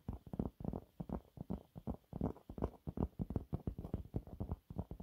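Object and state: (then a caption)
Cellulose sponge cloth. Fingernails rapidly claw and scratch at a thin, flat, yellow textured cellulose sponge cloth. The result is a fast, irregular run of soft, muffled scraping bursts, each short and dull with energy mostly in the low range and almost nothing bright.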